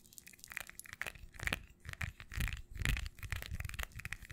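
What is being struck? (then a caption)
Small textured glass perfume bottle. Long nails tap and scratch a small red textured glass perfume bottle with a black cap, held close to the mic. The result is an irregular run of quick, dry taps and scratchy scrapes, with soft low thumps beneath bright glassy clicks that die away almost instantly.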